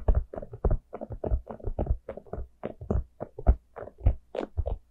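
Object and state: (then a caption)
Plastic jack-o'-lantern cup. Long nails tap and scratch the face and sides of a small, hollow, orange plastic jack-o'-lantern pumpkin cup. The result is a quick, uneven run of short, dull taps with brief scratchy rasps, each dying away almost at once, with most of the energy in a low, hollow thump.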